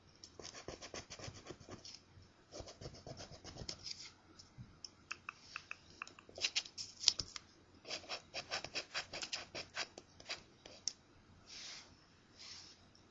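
A thin, flat paper scratch-off lottery ticket with a crossword grid, resting on a carpet, is scratched with the edge of a coin held in the fingers. Quiet, bright, dry scraping comes in bursts of quick strokes with short pauses between them, ending in a few softer rubs.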